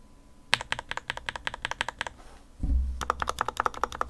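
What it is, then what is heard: Plastic mechanical keyboard. A small modded RK61 white plastic 60% mechanical keyboard on a desk mat is typed on by fingertips pressing its plastic keycaps, first with two hands, then with one. About two dozen short, crisp taps are heard, with bright clicks over a lower thock. A brief pause and a low rumble come before a quicker final run of keystrokes.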